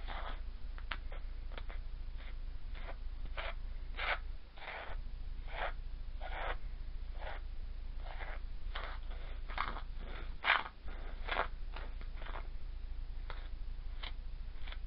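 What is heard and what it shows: A small metal spoon, held by fingers with painted nails, digs and scrapes through a flat layer of loose, crumbly lilac moon sand, a moldable play sand, spread on a round dark tray, while a second spoon lies still nearby. Soft, gritty scraping strokes arrive at an uneven pace over a steady low hum, each one a short bright rasp that fades quickly.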